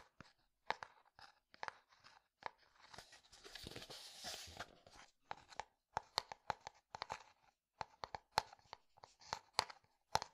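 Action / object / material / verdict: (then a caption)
tap / plastic jar filled with powder / plastic / none. Fingertips tap the white lid and side of a clear plastic jar filled with pale powder, making quiet, dry, sharp clicks with almost no ring. The taps come in uneven clusters, broken midway by a few seconds of continuous soft rustling before the tapping resumes.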